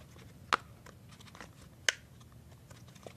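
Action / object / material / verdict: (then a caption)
tap / silicone pop-it fidget toy / silicone / none. Fingertips press and pop the hollow bubbles on a thin, hand-sized rainbow silicone pop-it fidget toy sheet. Two sharp, bright pops stand out, each with an almost instant decay, over a quiet background of faint soft ticks and rustles.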